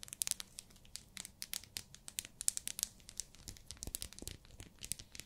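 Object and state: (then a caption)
Plastic-wrapped soap bar. Long nails tap and scratch a small, solid pink glycerin soap bar wrapped in plastic. The result is a quick, irregular run of dry crinkling clicks and scratches, bright and crisp, with each tap stopping at once and no ring.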